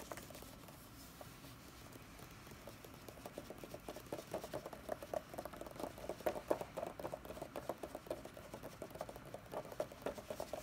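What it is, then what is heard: Paper book pages. Long red-painted nails tap and scratch across the printed paper pages of a large open hardcover D&D Player's Handbook lying flat. Quiet, dry scratching starts it off, then a rapid patter of soft, short taps with a papery mid-range tone grows denser and a bit louder from about four seconds on.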